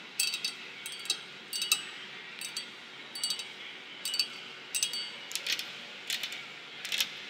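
Long white and long black nails tap and scratch on a large flat glass door pane near a metal frame strip. Quick, bright clicks and short scrapes come in small clusters with brief pauses between them. They sit over a faint steady hiss, with no low end.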